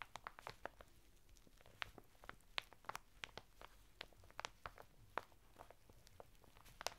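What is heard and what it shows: Fingertips scratch and rub the textured surface of a flat bath mitt made of coarse woven natural fibre, sealed in a thin printed plastic packet and lying sideways on a table. Quiet, sharp crinkling ticks and scratches come in an irregular string over a soft hiss, bright and dry with almost no ring.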